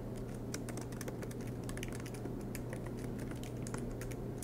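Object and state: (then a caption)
Laptop keyboard typing. Both hands type continuously with the fingertips on a silver MacBook Pro laptop, tapping its low-profile black plastic keys set in an aluminium body, with the laptop resting on a desk mat. The result is a steady stream of soft, quick clicks and taps with bright edges, over a constant low hum.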